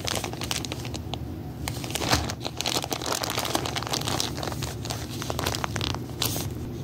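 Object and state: Plastic bag of rubber erasers.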